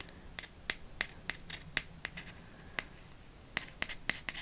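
A TK Maxx gift card in a thin red cardboard holder is scratched and tapped with long nails. There are 14 sharp, bright taps with almost no ring, spaced unevenly across quieter faint scratching, and very little low end.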